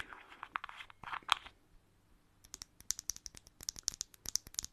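Long manicured nails scratch and tap a small hollow blue plastic bottle cap held in the fingers. A stretch of dry, crinkly scratching comes first, then a brief pause. A quick run of sharp, bright plastic clicks follows, each dying out almost instantly.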